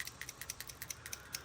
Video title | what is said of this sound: Trapping Your Gas – Replacing the PCV Valve on a Subaru EJ251 Engine | they sound pretty much the same